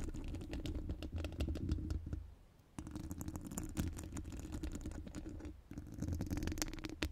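Long gold acrylic nails decorated with metal charms and rhinestones scratch and tap the hollow steel mesh dome grille of a studio microphone. The result is a dense run of quick, dry clicks and scratches over a heavy low rumble, with two brief quieter pauses.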